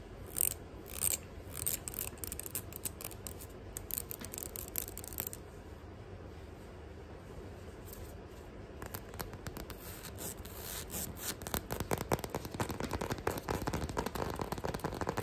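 Long nails scratch and tap on the finely ribbed sole of a grey flat rubber sandal with a small strap. Sharp, bright tapping bursts open the clip. A steadier stretch of dry scratching follows, and a denser, faster run of scratches and taps builds toward the end.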